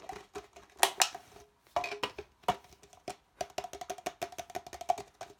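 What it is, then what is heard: Empty plastic cup. Fingertips rapidly tap and scratch the outside wall of an empty, hollow red plastic party cup held with its open end toward the camera. About sixteen quick, dry, hollow knocks ring out around 800 Hz, mixed with bright scratchy rustles. Each hit dies away almost instantly, and the pattern speeds up into a dense, irregular patter toward the end.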